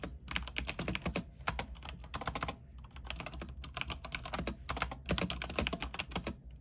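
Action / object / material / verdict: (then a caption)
tap / mechanical keyboard with plastic keycaps on a metal frame / plastic / none. Fingertips type continuously on an RGB mechanical keyboard with white plastic keycaps on an aluminium frame. Fast runs of short, bright key clacks are broken by brief pauses, over a steady low hum.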